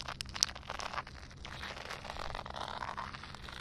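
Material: Concrete.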